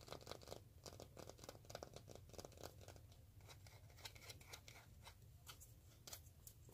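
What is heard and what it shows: Fingertips and short nails scratch and tap the outer surface of a palm-sized full roll of black cloth-backed duct tape with a hollow white cardboard core, held close. Quiet, rapid, dry scratching and light tapping form a dense patter of short bright clicks over a steady low rumble.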